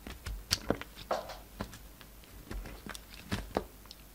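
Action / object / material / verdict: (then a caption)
scrape / solid bar soap / soap / none. A solid coral and white bar of soap is cut into chunks with a utility knife blade. A series of short, crisp cuts and soft snaps sounds at irregular intervals, with brief bright clicks over quiet, muffled pauses.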